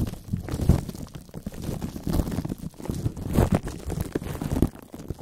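Fingertips and short nails tap, touch and scratch clear plastic cling wrap stretched tight over the metal mesh head of a large condenser microphone. The result is a dense run of muffled, low thumps and crinkly rubbing, with a few louder knocks standing out and very short decays.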